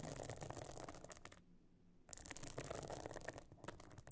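Long nails scratch and tap across the stone-chip encrusted top of a closed, pebble-encrusted metal-frame clutch bag lying flat. Dense, bright, gritty scratching crackles along with light clicking taps. It drops to near silence for about half a second midway before the scratching resumes.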